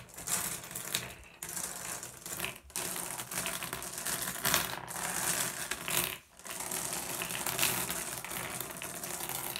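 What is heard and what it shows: Fingers rake and shuffle a pile of small solid blue glass gem pebbles on a wooden tabletop, the gems clicking against each other. It makes a dense, continuous stream of bright, sharp clicks and rattles with very little low end, broken by a few brief pauses before the shuffling resumes.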